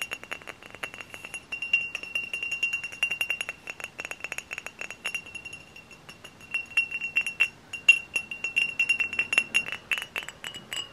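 A glass hard cider bottle is tapped up close in quick, irregular runs of light taps, with a brief lull around the middle. Each tap gives a short, bright glassy clink carrying a steady ringing tone near 2.7 kHz, with almost no low end.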